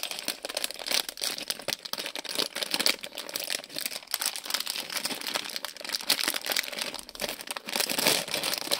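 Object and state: Plastic bag with toy bricks inside.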